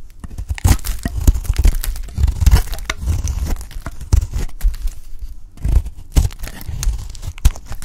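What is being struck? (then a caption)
Bar of soap. A lilac oval solid bar of soap held in the hand is cut and cracked with a utility knife blade. It makes a dense run of short, dry crunching and tearing snaps over a deep, heavy low rumble, with bright crackle on each cut.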